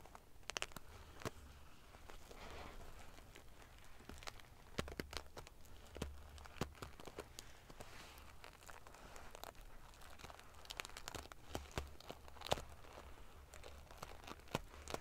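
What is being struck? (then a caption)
Padded fabric pillow covered in small metal sequins. Fingers with long painted fingernails ruffle and scratch back and forth across a large, soft, padded decorative pillow covered in rows of small silver metal sequins sewn onto fabric. The result is a quiet, steady stream of dry crinkling and crackling with many sharp, bright metallic ticks scattered throughout, over a faint low rumble.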